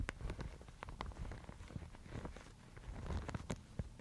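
A thin, fibrous Thai mulberry paper sheet is held in both hands, crumpled, and rubbed with fingertips and long nails. It makes a quiet, continuous soft rustle with scattered brief, bright crackles over a low, dull rumble.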